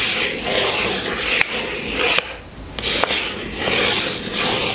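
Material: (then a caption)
Cardboard. A long fingernail scratches and rubs across the top of a small pink cardboard box holding a bar of soap on a table. The result is a steady, bright, dry rasping with a few sharp clicks, and the scratching briefly quiets partway through before resuming.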